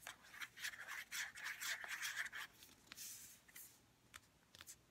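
Long red-painted nails tap and scratch a white plastic St. Ives lotion bottle. Quiet, bright bursts of clicking and rasping scratches come in an uneven series, concentrated in the high-mid range with little low end. Later strokes turn softer and hissier, ending in a few faint taps.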